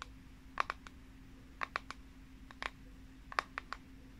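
Long nails tap and scratch the flat plastic back of a pink plastic paddle hairbrush with a unicorn print, held upright. Quick, dry, bright clicks come in four short clusters of two to four, each dying away instantly over a faint steady low hum.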